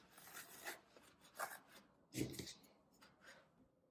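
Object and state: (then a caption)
Floral foam block being crushed and cut. A solid green floral foam brick is held in the palm while fingertips press and crush its top, then a thin knife blade starts cutting into its edge. Five soft, dry crunching and rasping bursts stand out against a quiet background, with bright crackle. The loudest, near the middle, adds a duller low thud.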